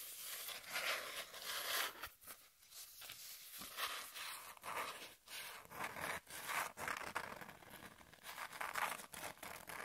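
A flat brown cardboard piece held in the hands is scratched across its surface with long nails. The result is a steady run of dry, bright, rasping scrapes that swell and fade in short bursts with brief pauses between them, with almost no low end.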